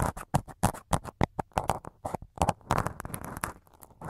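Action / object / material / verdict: tap / foam microphone windscreen / foam / none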